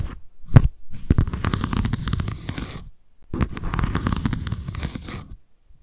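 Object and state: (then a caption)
Paper notebook with cardboard cover. Long nails scratch the white embossed cardboard cover and the page edge of a paper notebook. A brief soft tap leads into two stretches of dense, rough, low-heavy scratching, separated by a short pause.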